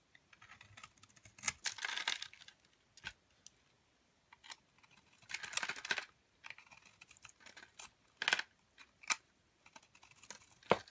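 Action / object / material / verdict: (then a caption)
scrape / bar of charcoal soap scraped with a metal blade / soap / none. A metal blade scrapes brittle shards off the surface of a round, palm-sized cake of black solid charcoal soap. Dry, bright crackling scrapes come in short bursts of varying length, separated by quiet gaps and a few sharp ticks.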